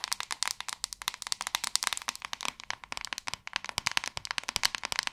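Long acrylic nails tap quickly across the back of a hand-sized white plastic paddle hairbrush. The result is a dense, steady stream of dozens of sharp, bright clicks with almost no low end and no ring after each tap.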